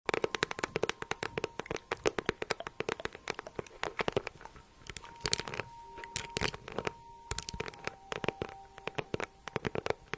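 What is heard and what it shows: A small, hollow, green crocodile-embossed faux leather handbag with a gold clasp is held in one hand and tapped and scratched with long nails. The result is a dense, fast run of crisp, bright clicks and scratchy rustles, each dying out almost instantly, over a faint steady low tone.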